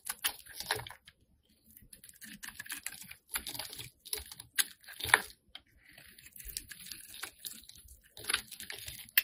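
A metal blade scrapes and carves flakes from the surface of a solid, hand-sized, light-blue bar of soap held in one hand. Short, crisp scraping and crackling bursts come in quick clusters with brief pauses between strokes. The sound is bright and dry, with almost no low end and very little ring.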